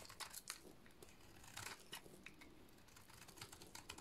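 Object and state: Dry soap bar being cut.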